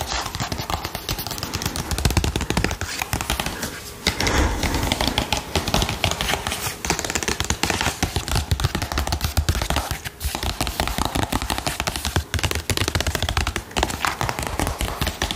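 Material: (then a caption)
Plastic. A medium, soft plastic squeeze tube of Balea shower scrub, hollow and apparently filled, is held in one hand and tapped with fingernails or fingertips. The result is a long, fast run of quick, dull taps with a deep, thumpy low end and a crisp bright click on top. The taps come in bursts with brief pauses.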